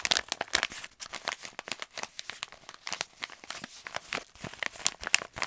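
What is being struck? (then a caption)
Kraft paper stand-up pouch. An empty, hollow, hand-sized resealable kraft paper stand-up pouch is held in both hands and scratched and crinkled with fingertips and short nails. The result is a fast, dense stream of sharp, dry crackles and scratchy rustles, bright and high with almost no low end, each snap dying instantly.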